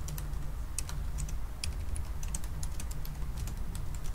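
Both hands type fast with their fingertips on the black plastic keys of a silver aluminum laptop. A rapid stream of light, bright key clicks runs over a steady low hum.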